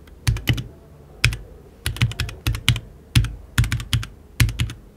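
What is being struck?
Mechanical keyboard with plastic keycaps and aluminium case.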